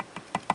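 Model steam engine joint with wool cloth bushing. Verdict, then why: Tight. Light taps on a joint of a Wilesco D21 model steam engine that has been rebushed with woolen piano bushing cloth produce a few short, soft, dull thuds with no ringing or rattle. The quiet taps show the cloth-bushed bearing is tight with no play, where a metal bearing would give a small knock.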